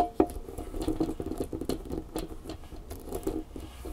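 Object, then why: Plastic flexible tripod. A red plastic flexible tripod stands on a table and is then held while long nails tap quickly on its bumpy legs and hollow head. The result is a fast, steady patter of soft, dull plastic clicks with a hollow low-mid tone and very short decay.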